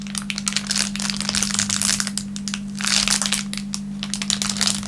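A thin clear plastic film wrapper on a wooden table is pressed and rubbed flat with the fingertips of both hands. Dense, bright crinkling and crackling runs continuously, swelling in small bursts, over a steady low hum.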